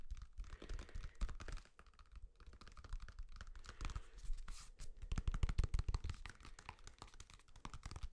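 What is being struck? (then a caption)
Banana with peel. Fingernails tap and scratch a whole, solid, ripe yellow banana with the peel on, held close to the microphone. Rapid, irregular soft taps with short, dull low thumps mix with brief bright scratching rustles, each tap dying away almost at once.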